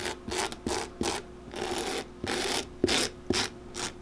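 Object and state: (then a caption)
Leather boot sole being brushed. A solid leather boot sole, held in hand, is scrubbed back and forth with a small bristle brush. Repeated, slightly uneven strokes produce dry, bright rasping bursts with short pauses between them, some strokes longer and smoother than others.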